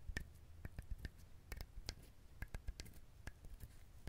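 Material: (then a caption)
Coconut husk. A whole, dried, fibrous husked coconut is held close to the microphone and tapped and scratched with fingernails and fingertips. The result is a quiet, irregular run of short, dull, low-pitched knocks with crisp clicky edges, each dying away almost at once, over a soft scratchy rustle.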